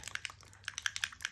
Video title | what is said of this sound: YOU CAN DO THAT?! Embossing With A Stencil | You want to just shake it up till you get that, hear that moving